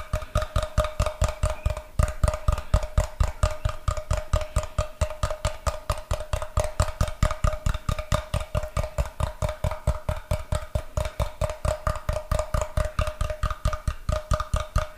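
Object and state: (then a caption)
Solid wooden block. Fingertips and nails rapidly tap and scratch the face of a brick-sized solid block of unfinished light wood held in one hand. The result is a fast, fairly even run of short, dry knocks with a low thud, each dying away almost at once, under a light scratchy texture.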